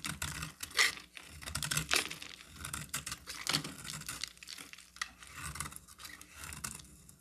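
A solid oval cream-colored bar of soap is held in the hand and shaved with a metal box-cutter blade, curling off white flakes. A run of dry, bright scraping and crackling strokes comes at an uneven pace, with sharp brief peaks and very little low end.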